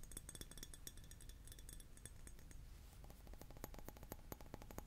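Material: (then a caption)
Glass. A glass object is tapped repeatedly, giving quick, bright clinks with short ringing tones. The first half has a scatter of light taps. After a brief quieter stretch around two and a half seconds, a faster run of sharper taps follows.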